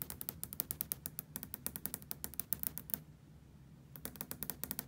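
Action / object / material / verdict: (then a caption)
tap / glass window pane tapped with fingernails / glass / none. Long fingernails tap rapidly on a large, solid glass hotel window with raindrops on the outside. The taps are sharp, bright clicks with a low, dull body underneath. They stop for about a second of near-silence, then resume in a quick run.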